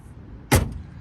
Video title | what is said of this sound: FULL GARAGE UPDATE & TOUR (2023)! | the door opening and closing sounds so solid